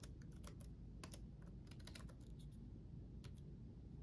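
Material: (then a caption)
Plastic. Both hands type rapidly with their fingertips on the backlit chiclet keyboard of a black laptop, its plastic keycaps set on a solid chassis. Quick, bright, light clicks patter irregularly over a steady low hum, with the overall level staying quiet and even.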